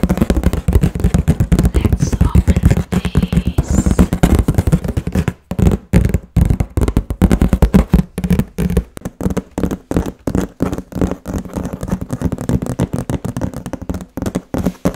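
A large, closed corrugated cardboard box for a Cosori air fryer, likely holding the appliance, is tapped and scratched on its top with long nails and fingertips, then lifted and held. The sound is a rapid, continuous stream of dull, low, hollow thuds and soft scratches with very short decay, with occasional brief pauses between bursts.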